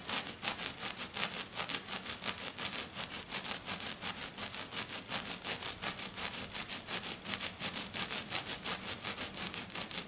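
Short, dark-painted fingernails on one hand scratch quickly across a flat silver glitter sheet lying on a table. About 39 rapid, rhythmic scratching strokes, nearly three per second, make a bright, hissing, rasping texture with very little low end.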